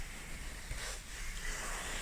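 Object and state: Nothing is struck.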